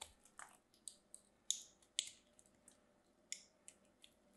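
A small craft knife cuts and scrapes the edge of a solid orange bar soap held in hands with short blue nails, curling off orange shavings. Quiet, bright, crisp scraping crunches come in irregular short bursts, each dying away almost at once with no low end.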